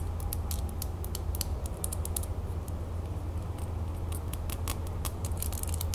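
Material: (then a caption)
Metal. A small, solid gold-tone metal crown brooch set with blue, green and orange stones is held in the fingers and tapped and scratched with long natural fingernails. Quick, bright clicks and scrapes sound over a steady low hum, with no voice.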